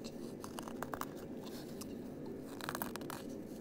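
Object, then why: Embroidered fabric patch. A small, flat embroidered fabric patch is held close and scratched over its stitched surface with fingertips and nails. Soft, dry scratching and crinkling bursts rise and fall over a steady low background hiss.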